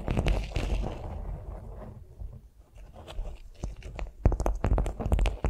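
Long nails tap and scratch a flat beeswax-coated cotton food wrap lying on a vinyl mat. Soft, crinkly scratching opens the clip, fades to a quieter rustle in the middle, then gives way to a run of sharp, uneven taps with bright clicky edges over a low, thumpy body.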